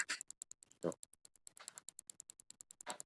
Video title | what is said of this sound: Cara Ganti Bearing Roda Depan Yamaha NMAX New - Tutorial Praktis! -- Adiel Fatboy | ada bunyinya ini harusnya enggak enggak boleh kayak gini